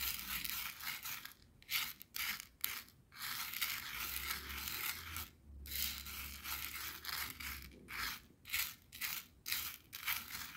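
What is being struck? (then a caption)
Coarse salt crystals on a plastic board. A thin wooden skewer rakes and scratches through a pile of clear, coarse bath salt grains on a white plastic cutting board. The sound is a bright, gritty crunching and scraping that comes in quick bursts separated by short pauses. A faint low hum sits underneath.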